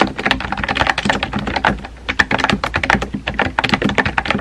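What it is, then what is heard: Plastic mechanical keyboard. Fingertips with painted nails type rapidly on a compact pink plastic mechanical keyboard with round white-and-pink typewriter-style keycaps and a hollow body, resting on a desk. A quick stream of short, bright, clacky key taps dies away almost instantly, with a brief lull near the middle before the typing picks up again.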